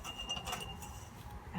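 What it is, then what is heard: Glass mason jar. Spare glass mason jars are tapped, giving light, glassy clinks with a thin ring near 2.8 kHz that lingers under soft low background noise.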